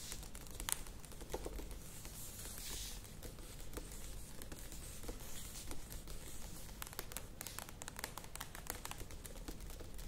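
Long nails tap the sides of a medium plastic yogurt tub with a lid standing on a table. The result is a steady stream of quick, dry, bright clicks that die away almost instantly, mixed with a faint crinkly, scratchy wash over a low, quiet background rumble.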